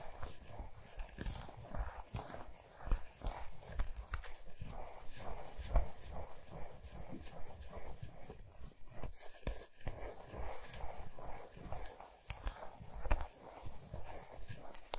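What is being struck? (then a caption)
Chocolate bar on a towel. Long nails slowly tap and scratch the flat, smooth back of a large solid milk chocolate bar resting on a towel. Soft, dull, low-heavy taps stand out over a continuous quiet, dry scratching texture, each tap dying away almost instantly.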